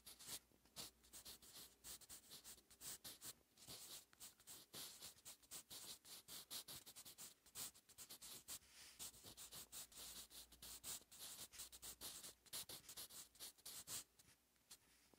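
A wooden 8B jumbo graphite pencil held in the fingers scratches across a lined paper notebook page lying flat and solid on a surface while writing Korean cursive. Quiet, bright, papery scratching comes in a steady stream of short strokes with brief pauses between them, with almost no low end.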